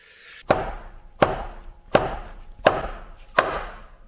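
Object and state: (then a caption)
Engine oil sump seal coming loose. Five evenly spaced mallet strikes on a metal engine oil sump bonded to a Fiesta ST stage 4 engine with sealant, meant to free it. Each hit is a short, dull knock with a mid-range tone around 610 Hz that dies away quickly. The sound changes as the sealant starts to let go, showing the sump seal is coming loose and the sump is about to come off.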